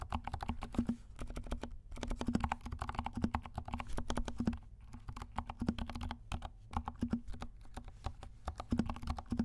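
A compact 68-key mechanical keyboard with dark plastic keycaps and silent switches is typed on with the fingertips of both hands. The keystrokes come as a fast, steady stream of soft, muffled, low clicks and thuds with a slight hollow tone, broken by a few brief pauses. Each stroke dies away almost instantly.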